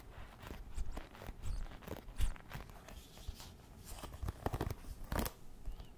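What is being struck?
Wooden paddle hairbrush.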